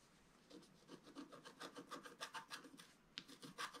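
A wooden stylus is scratched across a flat, black-coated scratch-art paper sheet. Quiet, dry, raspy strokes repeat quickly and unevenly with a bright, papery hiss. One sharper scrape stands out near the end.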